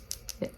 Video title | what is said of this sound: WEEKLY VLOG - Everyday Makeup Routine + What I Spend in A Month P1 + My First Camera - Anissasp Vlog | you hear that little ball it shakes it up